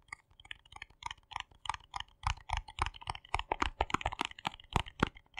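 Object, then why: Small plastic jar. Fingertips and nails tap and click on the yellow lid and dark body of a small, hollow plastic cosmetic jar held in the hands. The result is a fast, uneven run of short, dry clicks with a hollow low thump under many of them and bright, crisp tops. The taps land in quick clusters, and later ones grow louder and deeper.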